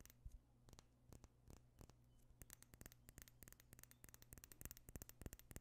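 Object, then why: Small glass perfume bottle. A small clear glass perfume bottle with a pink tint is held close and tapped and scratched with fingernails. Sharp, dry clicks come in an irregular patter over a faint low hum. The taps start sparse and grow denser and brighter toward the end.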